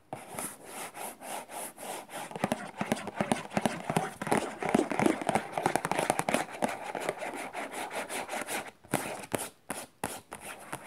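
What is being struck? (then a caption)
Cardboard tissue box. Long nails rapidly scratch and tap the printed sides of a hollow, rectangular cardboard tissue box decorated with macarons, with a plastic-film opening on top. The result is a dense run of quick, dry taps and rasping scrapes in an uneven rhythm, centered in the mid frequencies, with a brief pause near the end before the tapping resumes.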